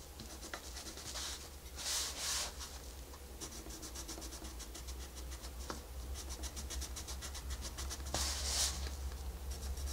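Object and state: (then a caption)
Colored pencil on paper page. A wooden colored pencil held in the fingertips rubs and scratches across the flat paper page of a wolf coloring book lying open on a white desk while coloring. Quick, uneven scratchy strokes repeat throughout, with a few louder bright hissing swipes, over a steady low hum.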